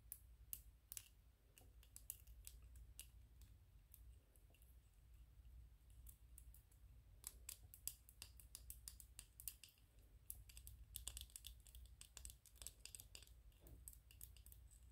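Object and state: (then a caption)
PLA plastic 3D-printed toy tapped with nails. Fingernails tap and scratch on a small white PLA plastic 3D-printed ghost toy held in both hands. Quick, sharp, bright clicks and scrapes come in an uneven stream over a steady low hum.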